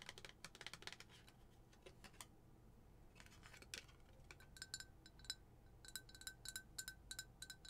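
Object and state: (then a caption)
Glass tumbler tapped with nails. Long nails tap a rapid series of light, bright clicks on a lidded glass tumbler filled with tissue as it is turned from its tag side to its printed side. Each tap is a short, high, ringing chink that dies away almost at once. The taps come in irregular bursts over a quiet low hum.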